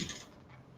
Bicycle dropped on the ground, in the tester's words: a little rattle is okay there's parts that are supposed to move a little bit the chain's going to move